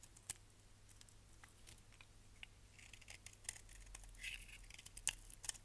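A solid purple striped bar of soap is held in hand and scraped and shaved with a utility knife blade, producing soap flakes. Quiet, dry, bright scratching and crisp little clicks come in irregular bursts over a faint steady low hum, with a few sharper snaps standing out.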